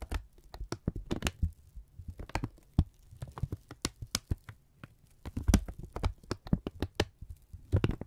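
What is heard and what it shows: A thin strip of brown kraft paper is held in both hands and folded, crinkled and stretched with the fingertips. Close, dry crackles and crisp snaps come in rapid, uneven bursts over soft low thumps, each one dying away almost instantly with bright, papery edges.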